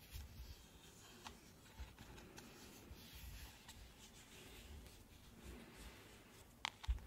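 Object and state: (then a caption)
Hollow plastic lamp tapped and scratched with nails. Long nails scratch and tap a lit, hollow plastic ice-cream-cone lamp held in both hands, working over the cone and its top. Quiet, steady scratching with a dull low rumble runs throughout, broken by a few sharper, brighter taps that stand out near the end.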